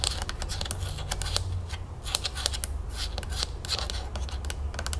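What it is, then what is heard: Plastic bottle and cap tapped with fingernails. Long acrylic nails rapidly tap the body of a large, full plastic Simply Lemonade jug, then tap and scratch its green plastic screw cap. The result is a fast run of sharp, bright clicks and scratchy strokes, each dying away almost at once, over a steady low hum.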